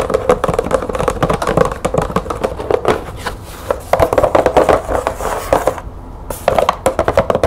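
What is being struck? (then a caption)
Cardboard light bulb box. Long nails tap rapidly on the side of a green printed cardboard light bulb box, making dry, hollow clicks with a mid-range tone. The tapping briefly falls quiet as the box is tilted, then resumes in quick bursts.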